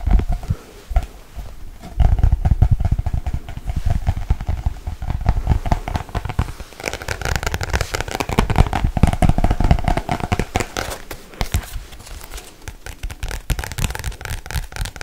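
A black paperback book with a glossy card cover, held upright, is tapped rapidly on the cover with long nails. The taps form a dense, fast patter of dry clicks with deep low thumps and almost no ring. They grow louder and heavier after about two seconds, then turn lighter and brighter toward the end.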